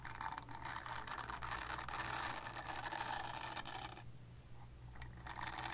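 A purple silicone body scrubber is scratched and scraped with long nails, making a dense, bristly scratching with bright high hiss and a steady low hum underneath. The scratching runs continuously, briefly quiets near the fourth second, then resumes.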